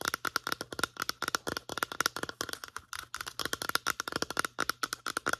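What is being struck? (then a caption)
Plastic lotion pump bottle. Long nails tap and scratch the sides of a medium-size white plastic lotion bottle with a pump. The result is a rapid, uneven stream of dry, clicky taps with a light ringing tone around 1.4 kHz, mixed with bright scratchy rasps. Each tap dies away almost instantly.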